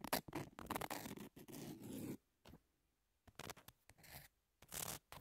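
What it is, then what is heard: Emery nail file scratched. Long nail tips scratch and tap across the grit of a long, thin, flat, solid emery nail file with a pink edge. Dense, gritty scraping bursts with sharp little taps spread from low rasp up into bright hiss, broken by short silent pauses between strokes.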